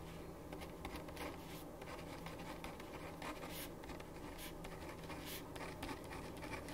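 A ballpoint pen writes on a thin printed paper sheet lying flat on a wooden desk, making a steady run of soft scratching strokes. Short brighter bursts mark the individual strokes over a low, constant hum.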